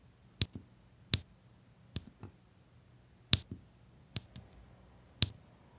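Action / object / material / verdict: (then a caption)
tap / small resin drills pressed with a plastic pen onto sticky canvas / resin / none. A plastic drill pen presses small solid resin diamond painting drills, in rows, onto a flat sticky printed adhesive canvas. Six sharp, bright clicks come at uneven intervals, most followed by a softer secondary tick, and each stops almost instantly. A faint low hum sits underneath.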